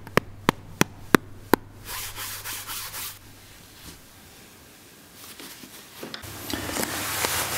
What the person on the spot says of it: if you tap on it you can hear all that padding that goes on